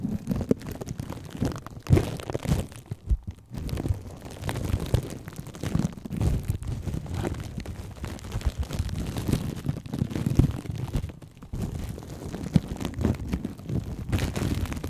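Fingers and nails pinch, crinkle and scratch plastic cling film wrapped over a microphone. The result is a dense, muffled stream of low, boomy crinkles and crunches with short quiet gaps, without talking.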